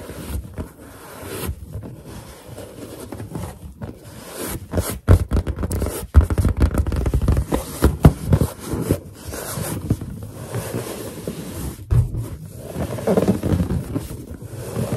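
Long nails tap quickly on a large, hollow, inflated white latex balloon while fingertips rub across its surface. The result is dense, dull, low thumps mixed with soft scraping, squeaky rubs, all short and muffled with almost no ring.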